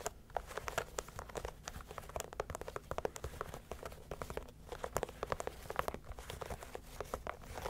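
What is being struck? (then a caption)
Leather sneaker upper tapped and scratched with fingernails. Long nails scratch and tap the leather upper of a single, hollow, empty white leather Adidas Samba shoe with black stripes and a gum rubber sole, held by hand close to the mic. The result is a quiet, steady stream of quick, dry clicks and crinkly scratching over a low background hum.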